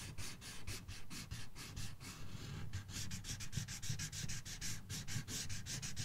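The felt tip of a red marker, held in the fingertips, rubs fast back and forth across the thin paper page of an open coloring book resting on a box. Each coloring stroke makes a bright, scratchy swish over a soft low rumble, repeating at roughly two to three strokes per second in a steady, close, quiet rhythm.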